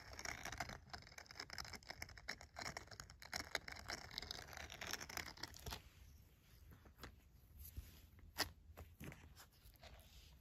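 The bristled palm of a green silicone scrubber glove is scratched with a red pen and fingernails, giving dense, bright, raspy scratching for about six seconds. The scratching then thins into quieter, sparser strokes and short sharp scrapes.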